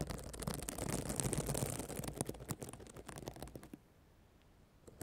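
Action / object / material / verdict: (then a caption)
scrape / plastic sequin notebook cover / plastic / none. Long black nails scratch the flat reversible plastic sequins of a spiral notebook cover showing an emoji face, pressing them flat against the cover. A dense, crackly scratching with rapid clicks and a low rumble underneath fills the first few seconds, then breaks into scattered ticks and fades to near silence, with one last faint click at the end.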